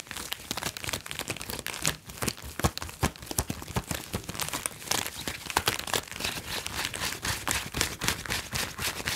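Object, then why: PVC vinyl garment. Fingertips and nails scratch and rub the chest of a glossy red PVC vinyl top worn on the upper body, a thin flexible sheet over a soft backing. The result is a dense, continuous run of bright crinkly scratches and squeaks, with many sharp, short transients that stop almost at once.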